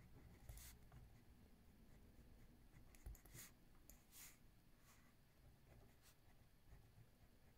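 A ballpoint pen held in a left hand writes on a thick lined paper notebook lying flat on a wooden table. Quiet, bright pen scratches come in short, irregular strokes over a low, steady background rumble.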